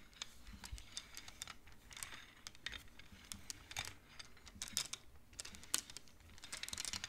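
Fingertips and nails push colored wooden beads along the metal rods of a large wooden-framed abacus, making them clack together. The result is a quiet, irregular run of short, dry, bright clicks, some louder than others, each stopping almost instantly with no ring.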